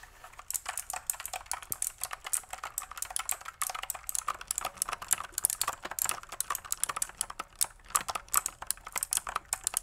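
Long fingernails tap and press the keys of a pink full-size plastic mechanical computer keyboard with white and pink keycaps and a hollow plastic body. The result is a steady stream of quick, sharp, bright clicks with almost no low end and no ring after each stroke.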